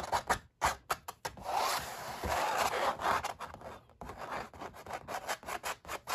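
Both hands rub and scratch with short nails across a stretched oil-painting canvas with ridged paint, with a metal ring worn on one hand. Quick, dry scratching strokes alternate with a longer continuous rubbing passage in the middle. The sound is a papery midrange rasp with little low end.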